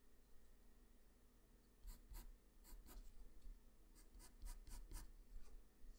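A graphite pencil, held close up, makes short scratching and shading strokes on a sheet of flat white drawing paper. About nine quick, bright, dry scratches stand out from a quiet, low background hum. Each stroke stops sharply with almost no ring.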